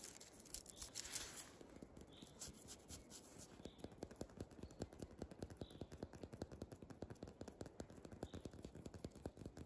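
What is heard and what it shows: Fingertips and short nails scratch and rub the white, papery bark of a large, solid, living silver birch trunk with dark lichen patches, outdoors in snow, a jacket sleeve close by. A brighter, hissing rub at the start gives way to a quiet, steady run of quick, dry scratches that tick unevenly against the bark.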